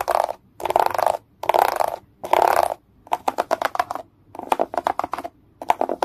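Fingertips and nails work over a grey plastic egg tray with rows of hollow dome bumps. Four sustained scratching strokes are followed by clusters of quick, dry taps on the domes. The sound is hollow and plasticky, centred in the midrange with bright, crisp edges and almost no low end.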